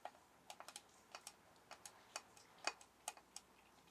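A metal soap tin is tapped in a quick, irregular series of about fifteen deep but crisp taps. Each tap is a short, bright click that dies away almost instantly, with very little low end, over a quiet background.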